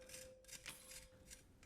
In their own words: now the roasted meat is ready You can hear the crisp sound